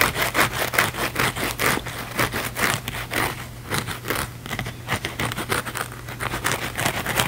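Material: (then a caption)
Foam. A thin, flexible, palm-sized blue foam sponge is held in both hands and scratched fast and aggressively with the fingernails. Quick, irregular bursts of bright, rasping scratches repeat throughout, over a steady low hum.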